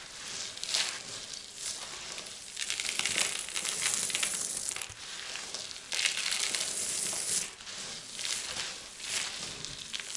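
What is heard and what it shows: Two hands with painted nails press into, rub and scoop up a loose heap of small, dry, multicolored soap shavings on a white surface, then drop the crumbs. Bright, crisp crushing and crinkling textures come in dense bursts that swell and fade throughout, with almost no low end.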